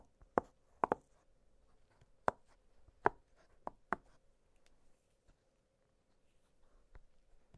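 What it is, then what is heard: Silicone pop-it fidget toy. Fingertips press and pop the hollow bubbles of an octagonal blue silicone pop-it fidget toy lying flat on a glittery surface. Seven short, dry pops sound at uneven intervals, with quiet pauses between them and a faint steady hum underneath.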